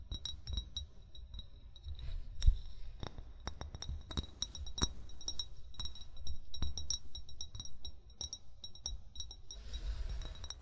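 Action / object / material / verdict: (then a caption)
tap / glass bottle / glass / none. An upright, hollow amber glass wine bottle is tapped repeatedly with short fingernails and fingertips. The result is a steady run of quick, bright glassy clicks and clinks, each dying away almost at once, over a soft low rumble.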